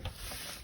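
An old wooden ironing stand, repaired with nails and a new lock, is shaken to check for wobble or rattle. A brief, low rubbing sound with a faint bright hiss is heard, with no loose knocking. The stand is tight and steady, not loose.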